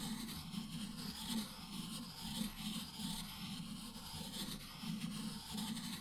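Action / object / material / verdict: scrape / stone inkstone with ink stick / stone / none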